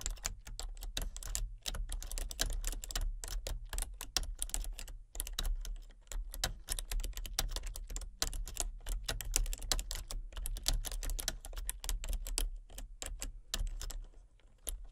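Fingertips with long nails tap steadily across the keys of a full-size, hollow-bodied plastic computer keyboard with color-changing backlit keys. The result is a dense run of short, bright clicks and clacks with a few brief pauses, over a low steady hum.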